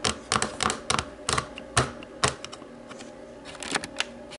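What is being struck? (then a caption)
Plastic remote control with rubber buttons. Long nails tap the rubber buttons of a small, hollow black plastic TV remote. The taps are sharp and clicky, coming in an uneven series of bright, quickly fading knocks with quiet gaps between them.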